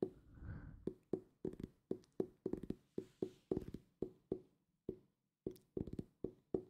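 A solid purple hardcover book, held up close to the mic, is tapped with fingertips and ringed fingers. After a soft, muffled rustle at the start, it gives a quick, irregular run of short, dull knocks with a hollow, mid-pitched tone near 380 Hz. Each knock dies away almost at once, with a brief pause before the last few.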